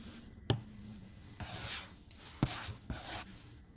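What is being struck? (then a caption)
Glass tablet screen stroked with a plastic stylus tip. The plastic tip of a white stylus makes short strokes across the glass screen of a tablet lying flat on a desk. Four sharp taps of the tip against the glass are heard, along with three bright, hissy scratching bursts of the strokes. These sit over a quiet, low background.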